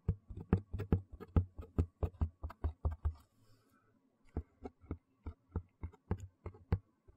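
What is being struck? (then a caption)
Cardboard shoe box lid. Fingertips and nails tap and scratch the inside of an empty white cardboard shoe box lid, its bare brown board held upright. A quick run of dull, low, muffled thumps with short decay gives way to a brief near-silent pause with faint scratching, then a slower, steadier series of soft taps.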